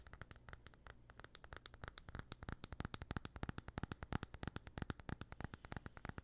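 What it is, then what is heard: Aluminium smartphone back. Fingernails scratch and tap rapidly along the back and edges of a small, thin, solid white and gold aluminum iPhone held in both hands. About 54 quick, dry, crisp taps come in an uneven rhythm over a soft scratching texture and a faint low hum. Each tap dies away almost instantly.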